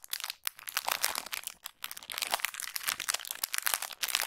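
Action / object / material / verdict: scrape / thin plastic packaging bag / plastic / none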